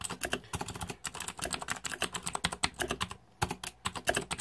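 Fingertips type rapidly on the plastic keycaps of a green-backlit Razer 2014 Deathadder mechanical keyboard, producing a dense run of sharp, bright clicks and clacks. The keystrokes pause briefly just past the three-second mark, then the quick typing resumes.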